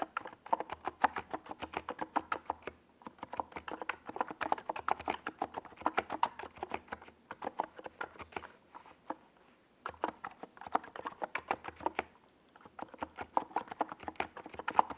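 Fingertips type continuously on a small NiZ Plum Atom 68 mechanical keyboard, which has a white plastic case and purple and yellow plastic Domikey Gas Attack SA keycaps and rests on a desk pad. Quick, crisp clacks centered in the midrange come in dense bursts, with short pauses between bursts around 3, 9 and 12 seconds.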